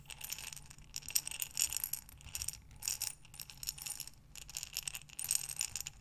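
A glass mason jar with a metal lid, filled with small buttons, is held sideways and rotated in both hands. The buttons rattle and clatter in dense, bright bursts that swell and fade as the jar turns.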